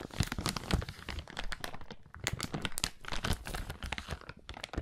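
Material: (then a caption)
Plastic. A small, empty, transparent plastic zip-lock bag is held close to the microphone and crumpled and crinkled with the fingertips of both hands. Dense, bright crackles and crinkles run almost continuously, with a low thumping body and a brief quieter dip around the two-second mark before the rustling picks up again.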